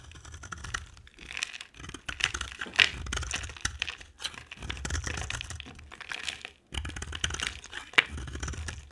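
A box cutter blade scrapes and carves flakes off a solid, dry, white rectangular soap bar with an orange rim, held in the hand. Repeated bright, crisp scraping and crunchy crackling strokes come in bursts separated by short pauses, with a few sharp snaps as flakes break away.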